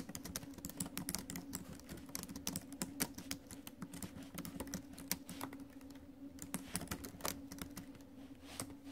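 Fingertips and acrylic nails of both hands type fast on the plastic keys of an ASUS laptop with a silver metal deck. The result is a dense, steady stream of short, bright clicks and taps that stop dead, over a faint low hum.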